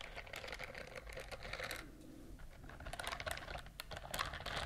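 A pink silicone bristled scrubber glove is moved close in front of the microphones and scratched with long nails and fingertips. Quick, crisp clicking and scratching taps patter in dense bursts, easing into a softer rustle midway before picking up again with bright, sharp ticks.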